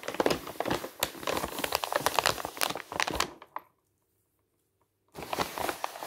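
A large, thin sheet of pink tissue paper lying over a surface is rubbed and pressed flat by fingertips, producing dense, bright crinkling and crackling. The crinkling stops for about a second and a half of near silence, then resumes for the final second.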